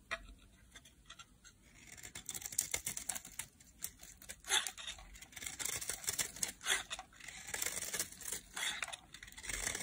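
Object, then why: Translucent bar soap. A metal utility blade carves a solid, palm-sized pink translucent bar of dry soap, shaving off thin curls. The result is a quiet, steady run of crisp, bright scraping and cutting strokes, with short, sharp rasps and almost no low end.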